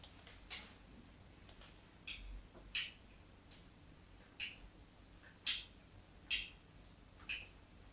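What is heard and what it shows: The tip of a craft knife scores lines into a solid, hand-sized rectangular white bar of soap held on a table. Eight short, bright scratching strokes come at uneven intervals, each a crisp high rasp that dies away quickly against a quiet background.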